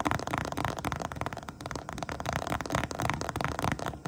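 Long painted nails tap and scratch the textured top of an iridescent holographic faux-croc vinyl pouch lying flat. A dense, continuous run of quick crackly taps and scrapes with a dry, short decay and little high-end sparkle.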